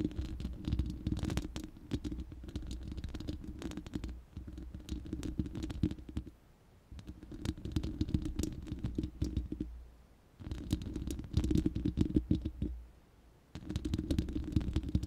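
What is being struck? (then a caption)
Steel mesh microphone grille. Long manicured nails of both hands scratch and tap the uncovered, hollow, round steel mesh grille of a large studio microphone. Dense bursts of scratching and quick clicking taps come with a deep, boomy low rumble. Brief quiet pauses break the bursts into four stretches.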